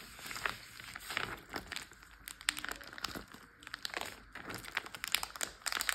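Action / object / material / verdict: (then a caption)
tap / plastic zip bag filled with water / plastic / none. A large clear plastic Ziploc bag full of water lies flat and is tapped, pressed and crinkled with fingertips and short nails. The result is a dense run of crisp, bright crinkles and quick ticking taps with soft sloshing underneath, and almost no low end.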